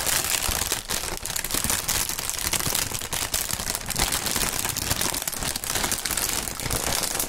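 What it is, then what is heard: Plastic air-cushion packaging film, crinkled. Clear printed polyethylene air-cushion packaging film, hollow, is crinkled and squeezed between gloved fingertips. The result is a steady, dense crackle of bright, high plastic crinkling with constant small pops and rustles and no pauses.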